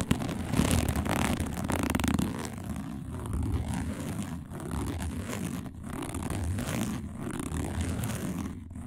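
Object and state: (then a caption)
Woven plastic placemat. Long nails scratch quickly across a round, flat, dark woven plastic placemat, including single-finger nail scratches. The result is a steady, dense rasping scrape with fast repeated strokes, heavy in the low range and easing slightly between bursts.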